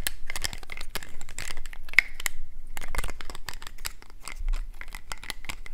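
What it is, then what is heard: Plastic toy trophy. A small, hollow, gold-painted plastic statuette trophy on a black plastic base is held in the hands while fingernails tap and scratch along the figure. The result is a quick, dense run of dry, clicky taps and crinkly scratches with bright, crisp edges, a recurring tone around 2 kHz, and no ringing after each hit.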